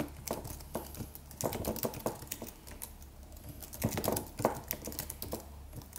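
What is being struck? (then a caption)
Computer keyboard, aluminum body with plastic keys. Fingertips of both hands type on a slim, silver aluminum computer keyboard with white plastic keys and a solid, low-profile body. The result is an irregular stream of short, soft clicks and taps with quick bright edges and little ring, with a few louder bursts of keystrokes. A faint, steady low hum sits underneath.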